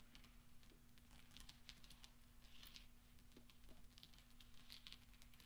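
Fingertips roll and spread small solid steel pachinko balls across black velvet, making them clink. The quiet clip is a scatter of soft, bright metallic ticks and short rattles over a steady low hum.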